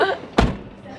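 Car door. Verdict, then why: Solid. A door of a 2024 Toyota Grand Highlander is shut once with a low, solid thud that dies away quickly. Faint voices are heard before and after the slam. The door sounds solid.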